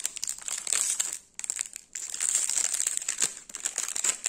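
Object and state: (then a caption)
Plastic wrapper crinkled. A small, full Gullon Cuor di Cereale sandwich biscuit bar in a sealed plastic/foil film wrapper is held and turned in the fingers and crinkled by the fingertips. Bright, crisp crinkling with quick crackles comes in bursts, almost entirely high-pitched with no low end. The sound drops to near quiet briefly around 1.3 and 1.9 seconds before resuming.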